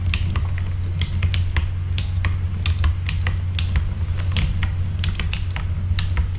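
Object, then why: Mechanical keyboard with plastic keycaps. Fingertips of both hands type on a full-size backlit mechanical keyboard with plastic keycaps, producing a steady run of sharp, bright clicks and clacks. A constant low hum sits underneath the keystrokes throughout.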